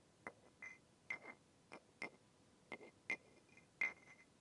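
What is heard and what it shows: A second wooden stick with a rounded end, held in the fingers, taps and rubs against the shaft of an upright, light, solid and smooth wooden massage tool with a rounded knob head. Eight short, bright, hollow knocks come at an uneven pace, each with a brief ring near 2 kHz and soft rubbing in between.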